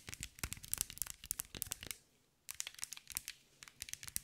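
A green mirror and glass mosaic ball, held in one hand, is tapped and scratched with long nails. The result is a quick run of crisp, bright clicks and scrapes. It pauses briefly near the middle, then resumes at the same quick pace.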